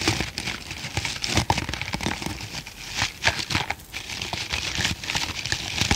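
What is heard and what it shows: A hand-sized green foam kitchen sponge with a tan middle layer, soft and porous, is held in one hand while the fingertips and nails of the other hand scratch and squeeze its surface. The result is a dense run of crinkly, crackling scratches with bright, hissy texture and a soft low rustle underneath, pulsing unevenly as the squeezing and scraping continue.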